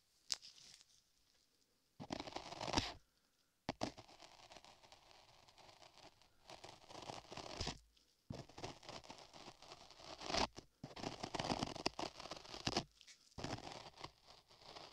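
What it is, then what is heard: Modeling clay scraped with a metal tool. Beige modeling clay, sculpted solid over a microphone ear, is scraped along its lower surface by a thin metal tool held in a latex-gloved hand. Bursts of dry, crackly scraping and crinkling come in close, bright strokes with short pauses between them.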